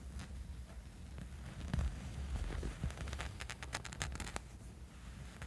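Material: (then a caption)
Fabric. Fingernails scratch and rub a small, dark, soft fabric sleep eye mask lying on a bed. The result is a low, muffled rustling bed of sound with short, bright scratchy ticks scattered through it, clustering most densely toward the end.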